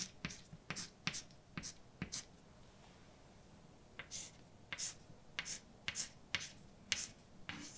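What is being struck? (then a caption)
Chalk on a blackboard. A hand holding white chalk writes letters on a large, dark chalkboard with a flat, solid surface. The chalk makes short, bright taps and scrapes in a quick cluster, pauses for about two seconds, then resumes with another run of crisp strokes and taps.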